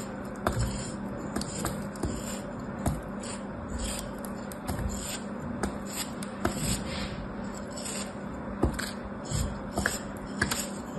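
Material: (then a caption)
Kinetic sand. A small solid molded block of kinetic sand, held in the fingers, is sliced and scraped with a metal craft knife blade, crumbling as it is cut. About 16 soft, gritty scraping cuts stand out over a steady low hum, each with a brief crisp edge and little ring.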